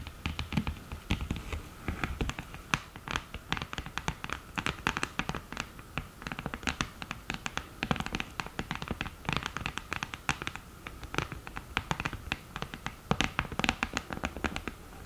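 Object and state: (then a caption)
Cardboard eyeshadow palette with mirror. Long green nails scratch and tap on the mirror lid and cardboard edges of an open cardboard eyeshadow palette. A dense stream of quick, dry clicks and bright scratching rasps plays throughout, with short, sharp, non-ringing taps over a soft low rumble.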